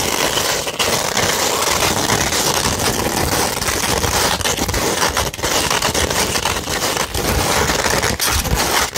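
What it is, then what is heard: 100-grit sandpaper scratched with nails. A beige 100-grit sandpaper sheet, held flat and then rolled into a tube, is scratched with long nails. The result is a dense, continuous gritty scraping with a bright, hissy top and a steady level, broken only by a few brief dips between strokes.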